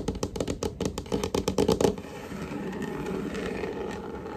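Fingertips and short nails of both hands tap rapidly on a large, solid, varnished wooden tabletop, giving about fourteen quick, dry knocks with a woody tone near 414 Hz. The tapping stops just before the two-second mark, leaving a steady, quiet low-mid hiss and rumble for the rest of the clip.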